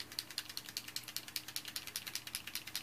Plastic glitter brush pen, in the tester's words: you want to hear that clicking in there really good